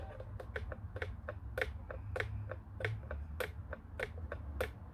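Fingertips tap the face and buttons of a black hollow plastic office telephone, making a quick, irregular series of short, dry clicks with a hollow midrange knock and a bright top. A steady low hum runs underneath the whole time.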